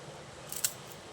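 A freshly fried chakli made from poha and rice flour is snapped in two by hand, giving a short, bright, crunchy crackle with two quick snaps close together. The sharp break confirms the chakli is crisp and well fried.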